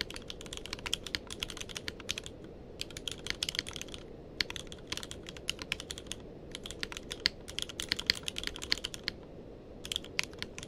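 Fingertips of both hands type continuously on a tenkeyless mechanical keyboard with plastic keycaps. Quick bursts of short, bright clacks are separated by brief pauses, over a steady low background hiss.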